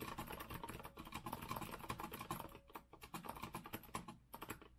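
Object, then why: Mechanical keyboard with metal frame and round plastic keycaps. Both hands type with their fingertips on a rose-gold Azio retro mechanical keyboard with a metal frame and round plastic keycaps. A rapid, steady stream of short clacky keystrokes with a low thump carries on throughout, easing briefly just before the 3-second mark before picking back up.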